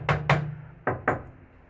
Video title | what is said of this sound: 2nd Gen Ram Interior Refresh | You can hear there's a lot of reverberation on the firewall.